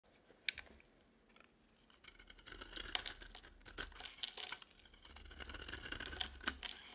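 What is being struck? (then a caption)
Bar of soap scraped with a metal blade. A palm-sized, solid cream bar of dry soap embossed "bridge" is held in one hand and scraped and shaved with a metal utility knife blade, making shavings fall off. Soft, bright, dry scraping and crisp ticks build into steady rasping strokes with sharp clicks throughout.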